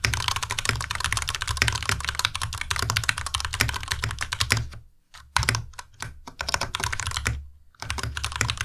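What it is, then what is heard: Plastic mechanical keyboard. A compact white Ducky Miya Pro mechanical keyboard with white plastic keycaps and Cherry MX Red switches is typed on continuously with the fingertips of both hands. A rapid, dense stream of bright plastic clacks rides over a low thudding base. The typing pauses briefly twice near the end before resuming.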